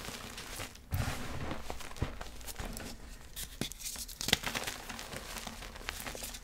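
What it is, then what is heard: Gym chalk block crushed by hand. A hand grips a solid, dry grey-blue gym chalk block (magnesium carbonate) and squeezes it with the fingers and palm, crumbling it into powder over a pile of yellow chalk powder. The result is a steady, dry, gritty crunching and crackling with bright crumbly detail, punctuated by sharper snaps, including a loud crack partway through.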